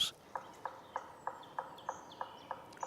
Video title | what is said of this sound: Forest on the Brink: Nature’s Last Line of Defense - Full Wildlife Documentary | Questo rituale risonante dimostra che la proprietà potenziale è grande e pulita